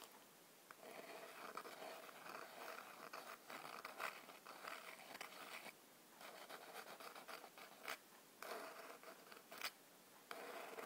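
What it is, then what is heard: Cardboard matchbox. Long black nails tap and scratch the top and sides of a small, hollow cardboard matchbox standing upright on a white table. Dry, papery scraping and tapping come in uneven bursts with short quiet gaps, carrying a bright, crackly texture and almost no low end.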